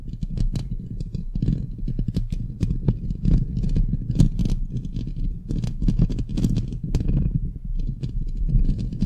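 Long glittery nails quickly scratch the rounded, hollow metal mesh grille of a microphone head. The scratching is a dense, continuous, low, rumbling scrape, broken by rapid bright ticks and rattles as the nails drag across the mesh.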